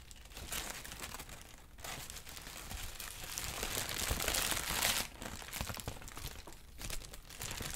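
A large, thin sheet of pale yellow-green crinkled tissue paper is held up and crumpled and rustled with both hands. It makes a dense, bright crackling rustle that swells to its loudest in the middle, then drops back to softer crinkles toward the end.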